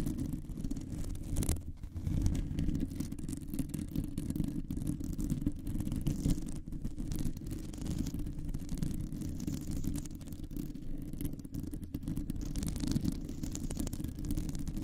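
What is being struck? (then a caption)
Metal mesh microphone grille. Long nails scratch across a round, hollow metal mesh microphone grille. The result is a steady, dense rasping rumble concentrated in the low frequencies, with a deep muffled texture that continues for the whole clip and no voice.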